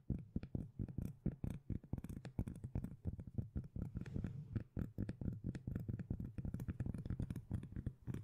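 Long nails rapidly scratch and tap across the textured surface of a flat, round, palm-sized solid cork lid held up close. The result is a dense run of short, dry, deep thuds and scrapes, bass-heavy with almost no high end, each dying away almost instantly.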